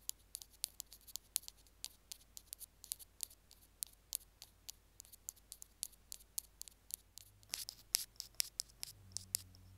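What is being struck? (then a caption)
Small plastic earphone remote on its cable. Two wooden sticks tap and scratch along the casing of a small white plastic Apple earphone mic/remote on its cable. About 39 quiet, dry, bright clicks and scrapes come in quick succession, each dying away instantly with no ring. A faint low hum rises near the end.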